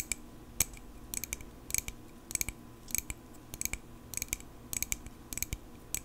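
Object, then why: Small metal pocket knife. A small, solid silver metal pocket knife, held in both hands in front of a microphone, is tapped with long pink acrylic nails. Bright, sharp clicking taps come in quick clusters, each dying away almost instantly, over a quiet background hum.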